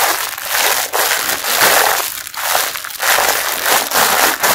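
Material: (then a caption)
Plastic film. Fingers squeeze and crumple the clear printed plastic wrapper around a pink mesh bath sponge. Dense crinkling and crushing crackles come in repeated pressing bursts, mostly bright with no low end.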